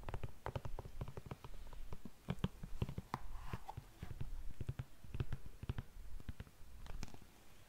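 Long nails tap quickly and unevenly on the toe and upper of an empty black glossy patent leather pump. The taps are soft, dull and low, each dying away almost at once, with brief pauses between bursts.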